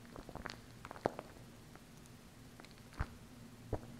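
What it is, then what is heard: Plastic glue stick tapped with acrylic nails. Long acrylic nails tap and scratch the plastic side of a small plastic glue stick held by its base. Quiet, irregular clicks and soft scratchy patter come in bursts, with a few sharper taps standing out. A faint, steady low hum sits underneath.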